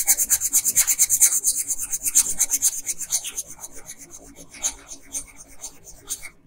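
A pink colored pencil rubs briskly back and forth across a flat paper coloring page at the dress hem, making a fast run of dry, bright scratching strokes. The strokes start steady and strong, then grow softer and less even before stopping.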